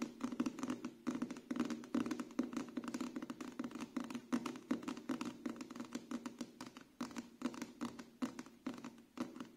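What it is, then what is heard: Paperback book cover. A paperback book with a glossy card cover is held in the hands while its cover is quickly tapped with fingertips and nails. The result is a fast, uneven patter of light, dry taps with a low-mid body and very short decay, occasionally touched with a bright clicky edge from the nails.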